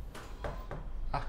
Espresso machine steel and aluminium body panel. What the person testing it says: enggak ada bunyinya tuh. Enggak ada bunyinya tuh.